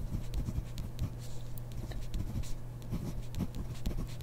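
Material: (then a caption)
Paper. A ballpoint pen writes on grid paper in a spiral notebook while the other hand rests on the page, the pen tip scratching the paper. Soft, dry scratching strokes with light taps come and go over a steady low hum, all at a quiet, even level.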